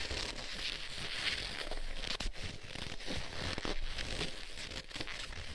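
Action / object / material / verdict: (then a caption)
scrape / leather gloves / leather / none. Black leather gloves worn on both hands have their gloved fingers interlaced and rubbed together, producing leather-on-leather friction. It sounds like a steady, close crinkling and creaking with a low rumble underneath and a bright, papery hiss on top, with a few sharper squeaks and crackles along the way.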